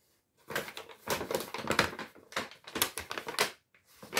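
A large, empty brown kraft paper Lidl shopping bag with white stripes is handled and crumpled with the fingers close to the mic. Dry, bright crinkling and crackling comes in uneven bursts, separated by brief quiet gaps. The sound has little low end and almost no ring.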